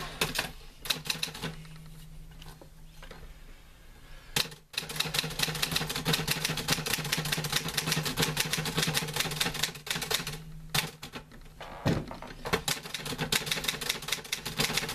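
Fingertips type on the keys of a green-grey metal portable manual typewriter with paper loaded. The result is a fast, uneven stream of sharp, bright clacks, with a few louder strikes and brief pauses. A steady low hum runs underneath.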